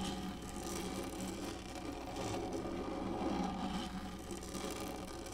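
Long fingernails on both hands scratch across the textured top of a black, hollow plastic lap tray. The result is a steady, dense rasping scratch with a low hollow hum underneath and faint bright hiss, holding an even level throughout.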